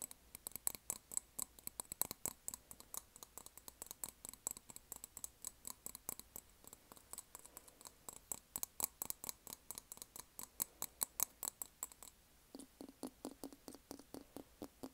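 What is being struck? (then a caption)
Wax-filled glass candle jar. A large glass candle jar with a black lid, filled with wax and held in the hands, is tapped quickly with long nails. The quiet, steady stream of sharp, bright clicks dies away almost instantly. Near the end the taps turn duller, with a fuller low-mid knock.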